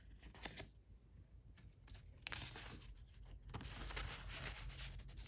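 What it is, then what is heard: Origami paper sheet. A single thin red Daiso origami paper sheet with a diamond emboss pattern, about 15 cm square, flat and solid, is held in both hands and handled and rubbed with the fingertips. Soft, scattered crinkles and scratchy paper flicks come first, then the rubbing swells into a denser, steady, bright rustling that carries to the end.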